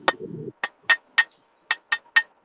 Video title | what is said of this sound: Bong rips / sponsored by #Bloom_plus and #nukeheads_nutrients | Yeah, you see the ring? Big difference. There's a ring in it. Exactly. Yeah, because it's smaller and thinner.